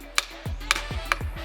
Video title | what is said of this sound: Bringing a Broken Mountain Bike Back to Life - Inside TPC - TPC | a really dull spot right there right where the visual damage is that lets me know that's likely some broken carbon